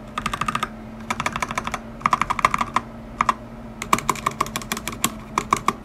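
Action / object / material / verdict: tap / mechanical keyboard with plastic keycaps and metal plate / plastic / none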